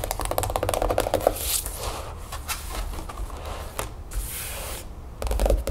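Long acrylic nails tap quickly across the grid-patterned stiff card cover of a large, flat, spiral-bound paper planner with a solid stack of pages, lying on a wooden table with a paper packaging sleeve on it at first. Dense, rapid clicky taps open and close the clip, while the middle turns to softer scratchy rubbing with bright hissy swipes.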